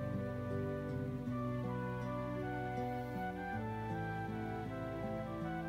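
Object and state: Nothing is struck.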